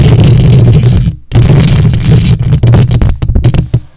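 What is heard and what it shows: Long nails on both hands scratch the hollow metal mesh grille of a silver condenser microphone. The result is a loud, boomy, low-heavy scraping rumble centered around 105 Hz, with faint bright rasp above. The scratching runs almost continuously, pauses briefly just past one second, then turns into choppier bursts that fade near the end.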